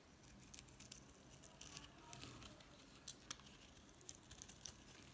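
A utility knife blade shaves curls off a solid green bar of soap, making a soft, crisp, crackly patter of quick scrapes with bright ticks and a couple of sharper clicks midway. The cuts are quiet and dry with almost no ring, and at the end the knife is lifted away from the bar.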